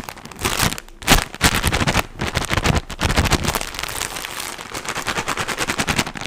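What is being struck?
Cotton wool pack in plastic wrapper.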